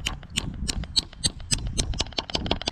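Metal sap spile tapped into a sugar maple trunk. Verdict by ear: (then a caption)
Seated. A maple syrup spile is lightly hammered into a hole drilled in a sugar maple trunk, producing about a dozen quick, sharp taps with bright, high clicks over a dull low thump. The tapping sound changes once the spile is fully seated, which signals to stop hammering, since driving it in harder would jam it and damage the tree.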